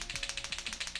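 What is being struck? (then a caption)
Plastic paint marker with mixing ball. A large blue Uni Posca water-based paint marker with a plastic barrel is shaken, away from the mic, to mix the paint before priming. Its mixing ball rattles in a quick, steady series of bright, high-pitched clicks with a short ring.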